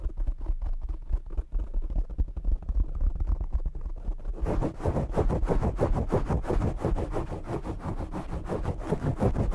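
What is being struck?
Foam microphone windscreen.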